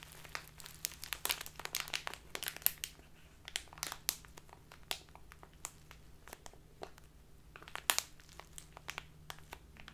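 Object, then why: Clear plastic bag of loose tea. A full, crinkly clear plastic Biotta tea bag of loose tea, standing on a table, is rubbed and crinkled with fingertips and long black nails, then squeezed in both hands. The result is dense, bright crinkling, with quick sharp crackles popping out over a soft, steady low hum.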